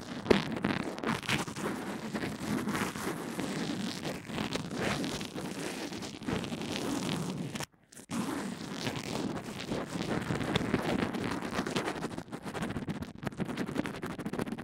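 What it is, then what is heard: Bandage-covered earphone microphone being brushed. A pink mascara spoolie is pressed flat and rubbed along the bandage wrapping a small earphone microphone resting on a table. It makes a continuous, dense, close-up scratchy rubbing with a heavy low-mid body and some brighter bristle texture. The rubbing briefly drops to silence just before the 8-second mark, then resumes at the same steady intensity.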